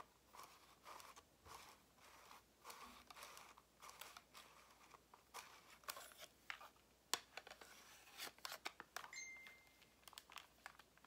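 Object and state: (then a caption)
Plastic calculator tapped and scratched. A black and grey plastic scientific calculator, a hollow case with buttons, is held in both hands while long nails tap and scratch its plastic back and sides before it is turned to show the front. Quiet, dry, bright clicks and scratchy rasps come in uneven bursts with almost no low end and no ring. A brief faint steady tone appears near the end.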